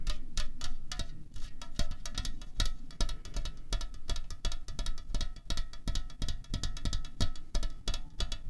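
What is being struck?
Aluminium drink can.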